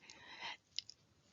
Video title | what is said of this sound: Strategies: To Help Your Child Learn to Listen and Talk | so you shake it it rattles